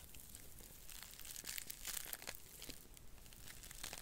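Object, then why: Cellulose sponge. A small, porous, dry blue cellulose sponge is bent and scratched with long nails close to the mic. It gives quiet, dense, bright crinkling and crushing crackles in an irregular run over four seconds, with a low rumble underneath.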